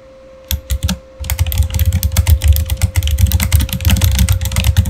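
Fast typing with the fingertips of both hands on a backlit Razer Fire mechanical keyboard with plastic keycaps. A few separate clicks open the clip, then a brief pause gives way to a dense, continuous run of quick, bright key clacks over deep thumps as the keys bottom out. A faint steady tone hums underneath throughout.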